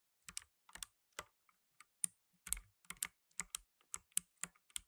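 Blue nitrile-gloved fingertips type fast on a black tenkeyless mechanical keyboard with plastic keycaps. Quick bursts of sharp, bright clicks and clacks come in uneven clusters, each with a faint low thud and almost no ring, all heard at a quiet level.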